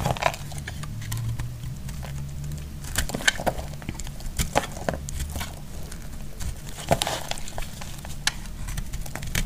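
A utility knife blade shaves a solid, hand-sized pink bar of soap held in the hand. It makes dry, crumbly crinkling and crackling with repeated sharp scraping ticks over a steady low hum.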